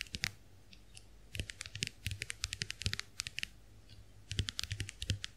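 Long nails tap the dotted plastic shells of a small round white plastic clamshell compact hand mirror held open. Quick, bright clicks with a dull low thump under each come in uneven bursts, with short pauses between them.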